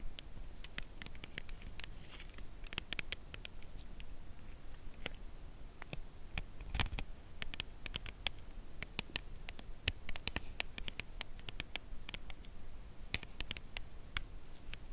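Long nails tap along the edge of a slim, full cardboard chocolate bar box held edge-on. The result is a long run of light, dry, slow taps with bright, crisp clicks that stop instantly, over a faint low rumble.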